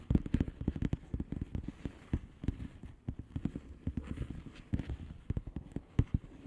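Long fingernails on both hands tap and scratch across the air-filled bubbles of a flat blue plastic bubble wrap envelope. A rapid, uneven stream of short, dull taps with soft scratching between them, mostly low and thuddy with almost no bright content. Each tap dies away instantly.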